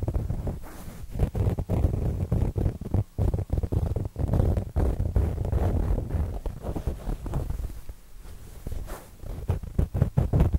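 A square, printed, soft stuffed fabric throw pillow is held in both hands close to binaural microphones while fingertips and nails scratch across its cover. The result is a dense run of low, muffled scratching and rubbing in uneven bursts with brief pauses, dull and rumbling with almost no bright top.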